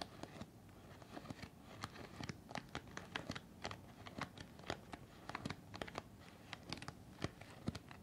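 A white folded N95 respirator of stiff nonwoven fabric with a hollow cup shape is held in both hands in front of the face and crinkled and scratched with fingertips and nails. Quiet, dry crinkles and scratches come in quick, irregular bursts of sharp, bright clicks over a soft, low rustle, each dying away almost instantly.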